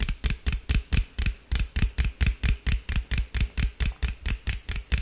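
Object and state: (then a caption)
Aluminum drink can tapped with fingernails. A hollow green aluminum beverage can is held in the hand and tapped and scratched with fingernails, giving 22 quick, evenly spaced hits. Each hit is a dull, low thump with a bright, crackly scratch on top, and each dies away almost at once.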